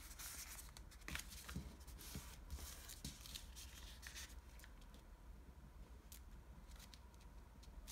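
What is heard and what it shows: Fingertips and nails crease and rub the folds of a small, folded, light blue washi origami paper sheet flat against a table. Soft, crisp rustles and scratchy, bright paper crackles come in quick, uneven bursts over a steady low hum. The sound stays quiet and close throughout.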